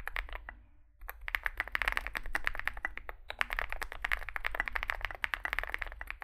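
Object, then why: Mechanical keyboard, metal case and plastic keycaps. A Zoom65 65% mechanical keyboard with a dark metal case, likely aluminum, white and grey SA-profile plastic keycaps and lubed switches sits on a desk mat while two hands type on it with their fingertips. Rapid, short key taps clack with a bright mid-toned click around 1.7 kHz, pausing briefly just before the one-second mark before resuming in a steady stream. A faint low hum runs underneath throughout.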